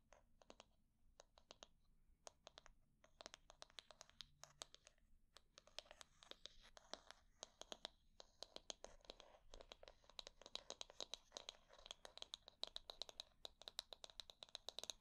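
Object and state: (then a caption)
Wooden hair brush back tapped and scratched. Long nails quickly tap and scratch the back of a solid wooden hair brush held in hand. Rapid, dry, bright clicks and scratchy strokes with almost no ring come in dense bursts. Brief pauses separate the bursts, and the activity grows busier toward the end.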